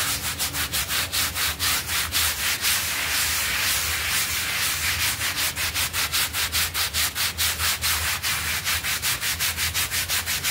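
A small, soft, flat rectangular blue synthetic pile rug, covered in white foam on a tiled floor, is scrubbed in circles with a stiff-bristled hand brush while the other hand holds it flat. A steady run of bright, hissy rubbing strokes pulses rhythmically throughout, with a faint low hum underneath.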